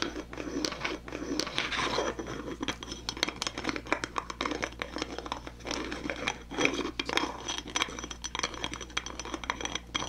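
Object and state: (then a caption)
Glass jar with plastic lid. Fingernails and fingertips scratch and tap the red plastic screw lid of a small clear glass jar full of white cotton balls, held in one hand. The result is a dense, continuous stream of bright, crackly scratches and quick ticking taps. A faint steady low hum sits underneath.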